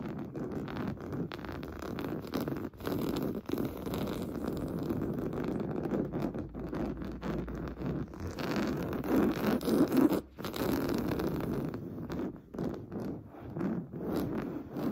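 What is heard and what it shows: Fingernails scratch rapidly across a large stuffed cream pillow with a fine-weave fabric cover. The result is a dense, continuous rustling scrape, mostly low and mid-toned with little brightness, broken by a few brief pauses.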